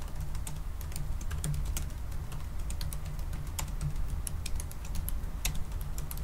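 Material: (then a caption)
Plastic. Both hands type quickly with the fingertips on the black plastic low-profile keys of a silver aluminum MacBook-style laptop resting on a wooden desk. A fast, uneven stream of light, short, bright clicks runs over a steady low hum that carries most of the sound's energy.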